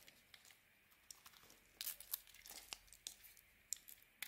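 A metal blade carves a solid, grey-rimmed white bar of soap, making quiet, bright, dry crackling and scraping sounds in short, uneven bursts. A few sharper crisp snaps stand out as chunks and flakes break away and pile up below.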